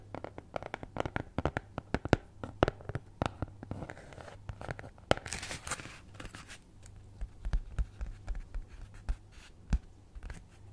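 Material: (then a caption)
Cardboard. Long nails scratch a flat brown kraft cardboard cutout (possibly thin fibreboard) shaped like a cat's head, held near the microphone, in writing-like strokes. Dozens of short, dry scratches and taps sound over a steady low hum, with a brighter, rasping stretch in the middle.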